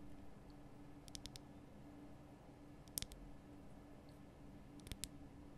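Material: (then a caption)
Rock salt. Long painted nail tips tap a large, solid, lit pink Himalayan rock-salt lamp, making short, bright, dry clicks with no ring. The clicks come in three quick clusters over a quiet, steady low hum.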